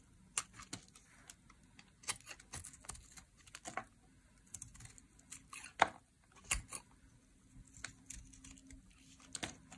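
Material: Soap.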